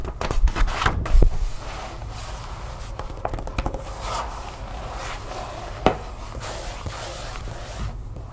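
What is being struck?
Glossy paper magazine page tapped and scratched with fingernails.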